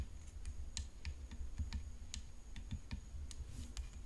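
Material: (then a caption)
Graphite composite. Long fingernails tap quickly on the hollow composite frame of a graphite composite tennis racket decorated with rhinestones. The result is a quiet, irregular run of short, bright clicks that die away almost at once, over a steady low rumble and a faint, constant high whine.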